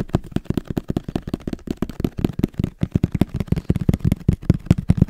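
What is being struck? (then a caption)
Small cardboard camera box. A small, hollow black printed cardboard camera box is held in the hand and tapped quickly with fingertips and nails. About two dozen rapid, dull, hollow taps follow one another with a low body and almost no brightness. Each tap dies away almost instantly.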